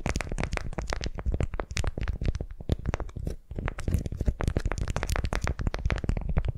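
A candy-shaped beeswax-coated cotton wrap around a wooden sphere is held in both hands, gripped and twisted with long nails. It gives a dense run of quick, soft crinkling and crackling ticks over a low, rumbling body of sound, with a brief lull midway before the crinkling resumes steadily.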